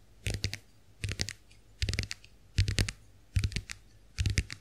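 Long nails tap and scratch the plastic shells of a small round white plastic clamshell compact hand mirror held open. Six short clusters of quick, dry clicks come at a steady pace, each with a low knock and bright, crisp edges, and brief scratchy traces between them in a quiet, close setting.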